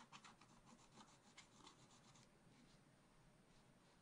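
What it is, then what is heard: Scratch art paper being scratched. A wooden stylus scratches and rubs away the black coating on a scratch art card in a spiral pad. Quick, bright, raspy strokes come for about two seconds, then ease into a softer, steadier rubbing hiss, all at a quiet level.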